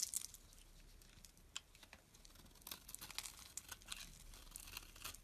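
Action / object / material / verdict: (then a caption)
scrape / bar of soap scraped by a metal blade / soap / none. A metal box-cutter blade scrapes the scored surface off a solid, green, elongated bar of soap held in the palm. The sound is a quiet, dry, bright crackling and shaving, broken by sharp little clicks and crisp tearing bursts as flakes come away.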